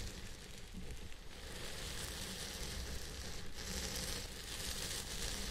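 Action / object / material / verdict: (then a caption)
scrape / synthetic fiber wig / synthetic fiber / none. Fingertips of both hands rub and slowly scratch the fibers of a purple synthetic wig on a head form. The result is a steady, dense crackling and rustling with a soft low rumble underneath and bright hiss on top, holding at an even level throughout.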